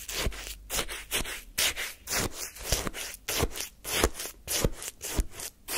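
A wooden spoon repeatedly scrapes and lifts icy lemon shaved-ice sorbet from a paper cup held in hand. Each stroke makes a crunchy, gritty scrape with a bright, hissy top and a soft low knock at its start, coming in a steady but uneven rhythm.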